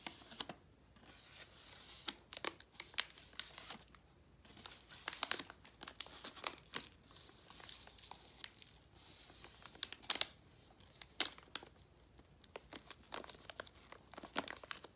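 A glossy pink Nerds plastic foil candy pouch is tapped and scratched with fingertips and nails. The result is bursts of crisp, high crinkling and scratching, with sharp taps over a quiet background.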